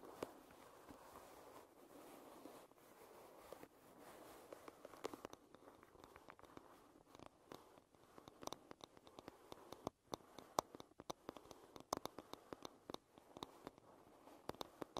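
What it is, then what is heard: Wooden hairbrush. Long red nails scratch across the back of a solid light-wood paddle hairbrush lying bristles-down, making a steady, soft rasping sound. They then switch to quick, sharp, dry taps on the wooden back, with brief scratches in between.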